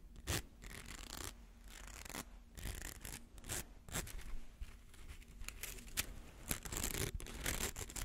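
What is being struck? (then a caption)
Plastic coil toy. A hollow, rainbow-colored plastic slinky coil toy is held between the hands while fingernails scratch and rub along its ridged edge. The result is a quiet series of dry, raspy scratching and rubbing strokes with bright, hissy texture, sharp short ticks, and a low background rumble.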